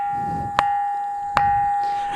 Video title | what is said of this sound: రాయిని రాయితో కొడితే చాలు స్వరాలు వినబడుతాయి - hmtv Life | ఎక్కడ తట్టినా గాని అద్భుతమైనటువంటి శబ్దం వస్తుంది